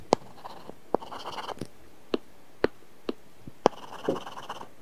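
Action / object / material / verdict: scrape / stylus on tablet glass screen with matte film / glass, matte film / none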